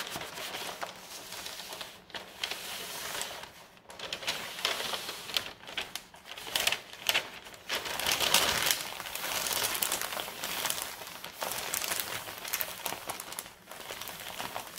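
Fingertips with long red nails rub, scratch and press a large, thin, brown kraft paper Staples mailer bag lying flat and empty on a carpeted table. The result is dense, continuous crinkling and scratchy rustling, bright and papery, with swells around 3 kHz and almost nothing in the low end. It rises and falls in loudness without clear separate hits.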